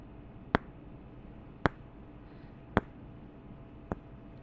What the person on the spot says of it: 4:49-10:33 Tapping two wooden candle tops together